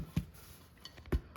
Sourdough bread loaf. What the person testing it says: when you tap it on the bottom and it sounds hollow, that's generally a good sign that it's done